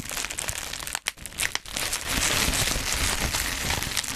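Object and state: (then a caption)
Bubble wrap crinkled and popped. Black plastic bubble wrap is bunched in the hands beside the mic as fingers crinkle it and pop its air bubbles. A dense, bright crackle of crinkling and small snapping pops runs throughout, briefly dropping away near the one-second mark before building louder and steady to the end.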